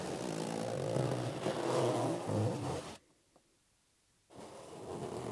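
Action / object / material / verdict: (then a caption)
scrape / inflated latex rubber balloon / latex rubber / none. Fingers slowly squeeze and rub a hollow, inflated green latex rubber balloon, making a low, steady squeaking rub with a buzzy, groaning tone. The rubbing stops abruptly for about a second of near silence, then resumes.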